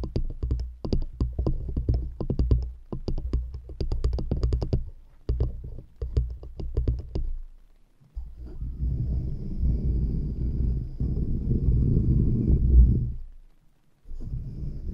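Long nails tap and knock on two stacked solid wooden rings placed around a microphone, producing rapid, irregular, low, dull knocks with almost no ring for about seven seconds. After a brief pause, a steadier, continuous low textured sound swells, then cuts off before a few more knocks at the end.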